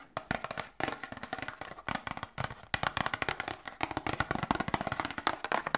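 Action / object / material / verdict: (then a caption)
tap / small cardboard box / cardboard / none. A small, hollow cardboard medicine box is tapped and scratched with long nails. Quick, dry, close taps come in dense rapid clusters with short gaps, each dying out almost instantly, with faint scratching between them.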